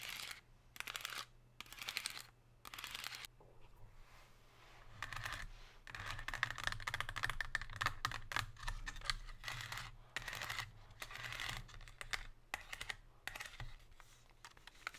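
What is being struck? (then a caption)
Thin metallized plastic insert tray. Long pink nails tap and scratch a thin, hollow, empty silver metallized plastic chocolate insert tray with chevron ridges. The clip has bursts of quick, crisp plastic clicks and rasping scratches separated by brief pauses, over a faint steady low hum.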